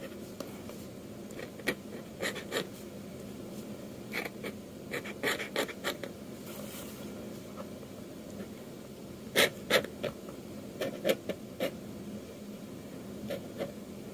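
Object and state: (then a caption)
Metal pen nib inking on paper. A metal dip-pen nib scratches quick inking strokes across a flat sheet of manga manuscript paper, tracing along a drawn hand. Short, dry scrapes with a bright edge come in irregular bursts over a steady low hum, with clusters of sharper strokes partway through.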